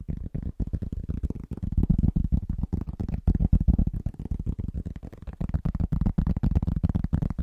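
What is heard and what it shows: A large, solid, round flat cork trivet is held upright in front of a microphone and tapped quickly and rhythmically with the fingertips of both hands, using short nails. The result is a dense stream of dull, low, muffled thuds that die away almost instantly, with no bright ring.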